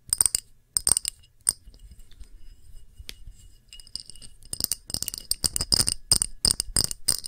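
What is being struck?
Small glass dish.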